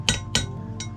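A valve stem seal on a Z20LET cylinder head valve guide is tapped down through a 12 mm socket, giving three short, bright metallic taps with the third quieter and higher-sounding. Music plays underneath throughout. The changed note of the last tap shows the seal is fully seated.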